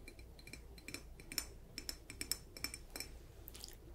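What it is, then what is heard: Ceramic jar tapped with nails. A hollow, hand-sized light blue polka-dot ceramic jar shaped like a mushroom, with a lid, is held in one hand while long nails tap on its lid and body. The result is a quick, irregular run of many bright, short clinks and clicks with very little ring, over a faint low hum.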